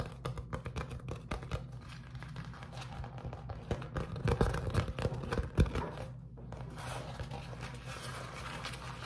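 A beeswax-coated cotton food wrap sheet is held flat, then crumpled in the hand while fingers crinkle and rub it. Dense, irregular crackles and soft rustles fill the clip, peaking sharply around four to six seconds. After a brief lull, the crinkling continues more steadily.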